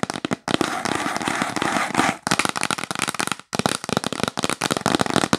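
Long pink acrylic nails tap fast on a yellow printed cardboard box held up close. The result is rapid, dry, bright clicks, with a dense scratchy run of continuous tapping early on. Brief pauses separate bursts of quick, crisp taps.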